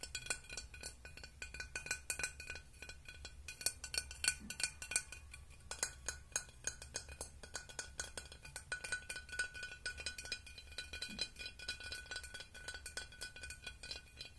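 A glass object is tapped and clinked in a quick, continuous stream of light, bright strikes. Each strike gives a short ring with a steady tone near 1.5 kHz, over a faint low hum throughout.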